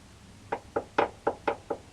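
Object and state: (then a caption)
Solid cab mount sleeve. Six short knocks on a metal sleeve left in a truck cab mount's rubber bushing after its bolt was removed, each a quick, dull tap with a mid-range tone that dies away almost at once. The sleeve sounds solid, so it stays in place.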